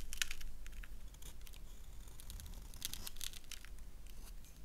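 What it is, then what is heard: Bar of soap being scraped and carved. A solid black bar of soap held in the hand is scraped and carved with a gold knife blade that curls off white soap shavings. Quick, irregular bursts of crisp, bright scraping and crackling follow one another over a low, steady background rumble.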